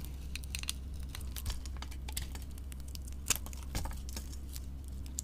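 A utility knife blade carves a solid white bar of soap with a gold-coated side, held in a hand with long nails. Quick, dry scraping and crisp crackling cuts come in short bursts, with a few sharper bright clicks. These sit over a steady low hum.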